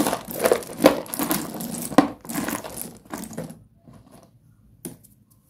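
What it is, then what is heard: Broken slate pencil pieces. A bare hand stirs and presses through a pile of small, solid white broken slate pencil fragments in a cardboard tray. Dense clinking and crunching fill the first three and a half seconds, then thin out to a few faint clicks and one last sharp clink near the end.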